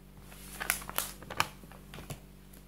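Fingertips rub and slide across the pages of an open paper textbook about buildings and lift the page edges to turn them, making soft, dry, bright rustles and crisp flicks. A faint steady low hum runs underneath, and a clock sits untouched in the background.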